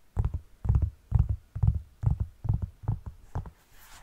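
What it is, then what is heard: Knit fabric sneaker. Fingertips and long nails scratch and tap the fabric upper and laces of a black knit textile sneaker held by the heel area. The result is a steady series of quick, dull, low thumping bursts with short scratchy flicks. Each burst dies away almost at once.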